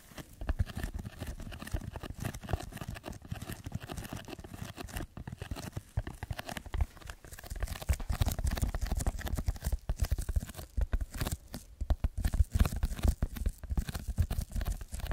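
Fingertips scratch and tap the surface of a red textured foam block held above and in front of a microphone. The result is a dense, continuous run of soft, crinkly scratches and quick taps with a heavy low thump, growing busier and louder in the second half.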